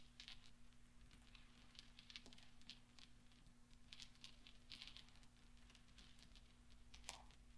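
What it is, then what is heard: Steel pachinko balls. Fingertips and nails rub and clink a pile of small solid steel pachinko balls resting on black velvet. Soft, scattered bright clicks and light rattling rustles come and go over a steady low hum. The overall sound stays quiet and gentle.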